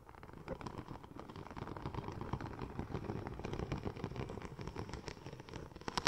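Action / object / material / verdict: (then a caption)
scrape / textured vinyl film sheet / vinyl / none. Long nails scratch and tap across the raised tread pattern of a curved, silver, checker-plate-pattern vinyl wrap sheet. The result is a steady, dense stream of crackly scratches and quick dry ticks with a low rumble underneath. Sharper, brighter taps come near the end.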